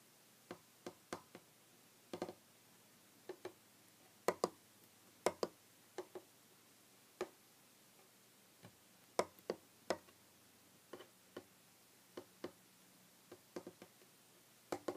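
Short painted fingernails of both hands tap a solid, flat, light wooden tabletop. Roughly two dozen quiet, dry, clicky taps land at an uneven pace, some in quick pairs, each with a hollow midrange knock that dies away almost instantly over a low, steady hum.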